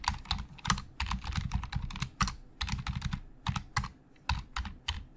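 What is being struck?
Plastic computer keyboard.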